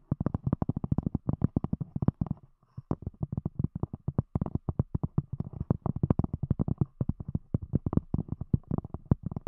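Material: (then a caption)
Cork. Long acrylic nails rapidly tap and scratch the top of a round, solid, thick cork disc set over binaural microphones. The result is a dense stream of short, dull, low thuds with soft scratchy texture and almost no high end. The tapping breaks briefly near the 2.5-second mark before resuming steadily.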